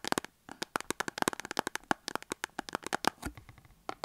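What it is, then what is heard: Cardboard soap box. Long acrylic nails tap and scratch a small printed cardboard box holding a soap bar, standing on a table. Quick, irregular dry clicks and taps mix with brief scratchy rasps, bright and crisp with almost no low end and no ring after each hit.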